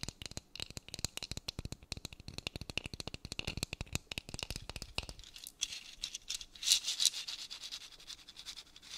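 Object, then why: Dried gourd maraca with beaded net. A painted, hollow dried gourd maraca, wrapped in a beaded string net and filled with seeds, is tapped with long fingernails in a fast, uneven run of sharp, dry clicks for about five seconds. Then the nails scratch across it, giving a soft, bright, hissing rustle with little low end and a few louder scrapes near the end.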